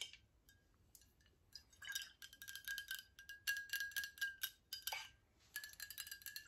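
A tall glass water bottle with a silver cap, partly filled with liquid, is tapped with long nails on the glass and the cap. Quick, light clicks come in uneven bursts, with a short, bright chime-like ring near 1.6 kHz that fades almost at once, against a quiet background.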